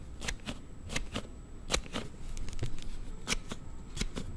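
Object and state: Plastic slide phone case clicking.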